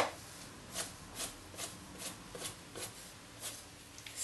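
A coin rapidly scrapes the scratch-off coating on the lid of a hollow printed cardboard box while the other hand rests on the lid, and flakes of film build up. A steady series of short, bright, dry scratching bursts repeats at a quick, even pace over soft background hiss, with little low end and almost no ring.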